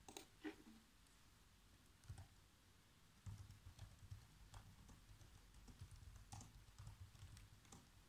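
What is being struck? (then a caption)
Plastic laptop keyboard keys. Fingertips tap black plastic laptop keys on a laptop keyboard in a quiet, uneven run of typing. The soft, dull key taps carry mostly low thuds with brief bright clicks and die away almost instantly, with a short lull early on before the tapping picks up again.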